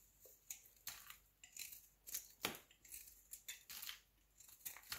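A solid square pink Marseille soap cube held in the hand is scraped with a utility knife blade. The result is quick, bright, dry scraping and shaving strokes in irregular bursts, with almost no low end and very short decay.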